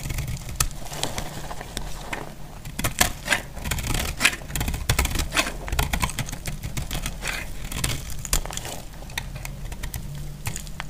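A metal utility blade shaves along the edge of a solid, dry off-white soap bar, producing a rapid run of short, crisp scraping clicks and crumbly crackles. The sound is bright and dry with almost no ring, layered over a steady low rumble.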